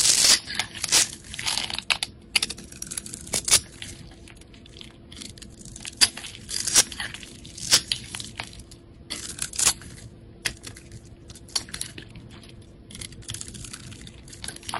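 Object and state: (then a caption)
Soap bar being scraped and chipped. A metal blade scrapes across a solid, hand-sized blue soap bar and chips off scored cubes and flakes. Crisp, bright crunching and crackling scrapes come in uneven bursts, with sharp snapping clicks standing out between quieter stretches of fine rasping.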